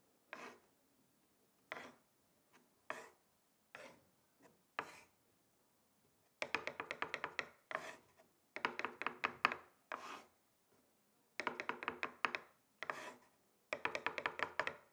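Two thin wooden sticks tap rhythmically on the surface of a flat, solid, rectangular wooden chopping board. Short, dry, bright clicks come first as single, well-spaced taps, then as quick rattling bursts of many rapid taps. Each hit dies away almost instantly.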